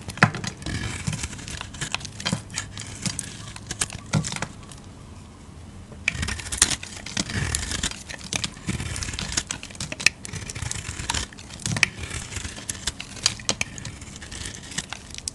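A solid cream-colored soap bar with a black printed surface is held in the hand and shaved with a utility-knife blade, peeling off curled flakes. Dense, crisp scraping and crinkling strokes with bright, sharp edges repeat throughout, with a brief quieter stretch near the middle before the shaving resumes.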